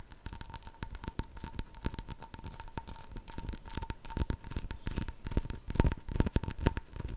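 A small clear glass jar with a gold metal screw lid, filled with colourful wrapped sweets, is held in both hands and tapped rapidly with long nails. The result is a dense, irregular run of short, dry clicks with soft low thumps, while the wrapped sweets rattle inside as the jar moves. A faint steady tone hums underneath.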